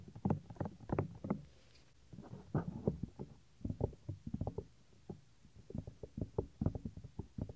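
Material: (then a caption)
Silicone. Fingertips and nails rub across the flap and folds of a white silicone 3Dio ear on a binaural microphone. The result is a series of close, muffled, low scuffing and thumping bursts with almost no bright content, separated by brief quiet gaps.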